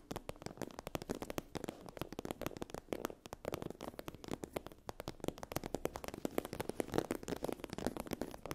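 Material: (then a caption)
Vinyl. Long acrylic nails scratch a sheet of iridescent holographic vinyl/PU faux-leather fabric with a raised scale texture lying on a fluffy blanket. The result is a quiet, dense stream of rapid, dry, crackly scrapes that stop instantly, centered in the mids with little deep low end or high sparkle.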